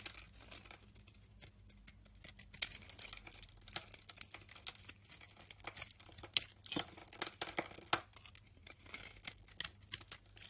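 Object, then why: Soap bar scraped by a metal blade. An orange-handled utility knife scrapes crumbly white flakes off the edge of a hand-held solid white oval bar of rancid soap. Dry, bright, crackling scrapes come in quick irregular strokes, with occasional sharper crisp bursts, over a faint steady low hum.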